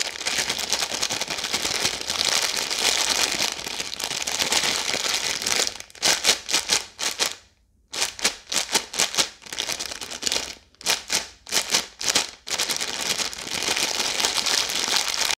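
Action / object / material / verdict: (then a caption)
tap / plastic-film snack bag / plastic film / none. A full red plastic-film Maltesers bag, held flat, is tapped and scratched with long yellow nails, with some crinkling. Steady bright scratching and crinkling gives way in the middle to a run of separate crisp taps with a brief silent gap, then returns to continuous scratching. The sound is high and papery with almost no low end, and each tap dies away almost at once.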